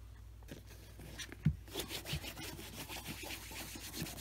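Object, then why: Leather boot. A tan leather brogue boot, hollow, has cream rubbed onto its toe cap by fingertips wrapped in a cloth. Soft, steady brushy rubbing strokes sit over a low hum, with a sharper knock near the start and brighter swishes as the rubbing picks up.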